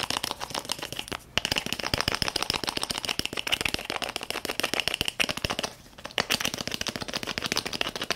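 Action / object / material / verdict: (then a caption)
tap / small plastic squeeze tube / plastic / none. A small, filled red and white plastic cream tube is tapped and scratched with long fingernails. The result is a fast, dense run of sharp, bright clicks and scrapes, with two brief pauses.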